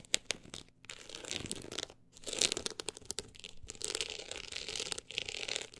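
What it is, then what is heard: Textured book cover scratched. Long acrylic nails scratch the solid, woven-look embossed cover of a closed book lying flat. The result is bright, dry, crinkly scraping in bursts of rapid strokes with brief pauses and no ringing.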